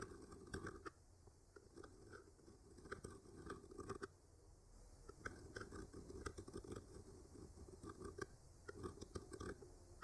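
A thin bamboo skewer with a clipped-on microphone traces and scratches lightly along the painted branch lines of a flat, solid painted wooden art panel. Soft, dry scraping strokes with small crunchy ticks come in irregular clusters over a low rumble, each tick very short with no ring.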